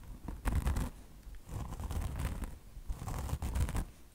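Long blue-painted nails scratch the coarse polyester mesh top of a bone-shaped car wash sponge, made of soft foam with a chenille microfiber fringe and resting on a marble surface. Three bursts of dense, rasping scratching are heard, with a heavy low rumble under a bright, hissy texture, separated by brief quieter pauses.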